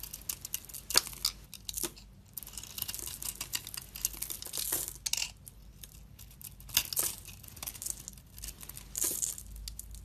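A solid black and pink soap bar, with a dark speckled coating and a pink core, is scraped and carved with a hand-held utility knife blade. Bright, dry scratching and crisp crackling strokes come in uneven bursts, with brief quiet gaps between passes. The overall level stays soft, with little low end.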